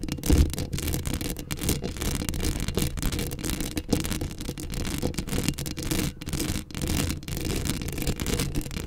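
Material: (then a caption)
Steel mesh. Long acrylic nails scratch a hollow steel mesh microphone grille up close, producing a continuous, dense raspy scraping. The sound is heavy and rumbling in the low end, with a thin bright hiss above. It keeps a steady level for the whole clip, with only brief dips.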